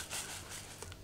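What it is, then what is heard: Filter cartridge with loose activated carbon granules inside. An activated carbon filter cartridge from a laser fume extractor is shaken, and the loose carbon granules inside give a soft, bright, hissy rattle over a faint low hum. Two small clicks near the end stand out. The rattling shows the activated carbon is still inside the cartridge.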